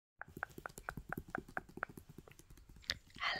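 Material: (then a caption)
Cardboard, paper. Fingertips and short nails tap and rub across the glossy paper front cover of a large, solid hardcover Health & Beauty book, a retro 1990s make-up book resting on a teal blanket. A steady run of quick, soft, dry taps with short clicky attacks and no ring plays out, ending in a brighter brushing rub across the cover.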